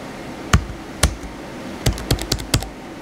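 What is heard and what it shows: Fingertips type and tap on the white plastic keys of a blue plastic laptop keyboard, producing sharp, short clicks with a low thump beneath a bright tick. A few isolated taps come first, then a quicker cluster of keystrokes, each dying away almost at once over a faint steady hiss.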